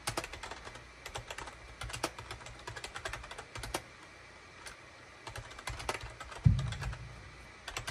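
Fingertips type rapidly on a full-size gray and cream SHIPADOO K600 wired USB keyboard with a hollow plastic case and plastic keycaps, resting on a desk mat. Quick, bright plastic clicks and clacks come in bursts over a low steady hum. One heavier, deeper thump lands near the end.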